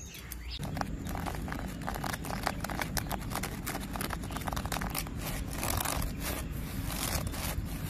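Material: Bark.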